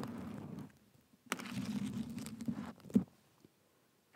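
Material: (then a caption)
Sequins. Nails and fingertips scratch across the surface of a black and gold sequin cushion, producing soft, rustling scrapes with a dull low-mid body. The scratching comes in two longer passes separated by near silence, with a sharper tap near the end of the second pass and a brief scrape starting again at the close.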